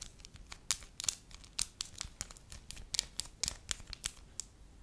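A thin, pale yellow pliable wax sheet is held up in both hands while long nails scratch and crinkle it and fingertips stretch it. The result is a quiet run of quick, bright crackles and scratchy clicks that stop short with almost no ring.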